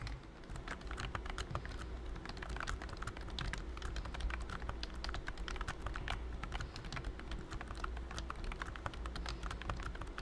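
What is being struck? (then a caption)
Plastic keyboard keys under a silicone skin. Fingertips of both hands type rapidly on a pink and cream BT21 COOKY full-size plastic wireless keyboard with round keys and a hollow body, covered by a thin silicone key skin. The result is a dense, continuous stream of soft, muted clicks and taps over a steady low hum.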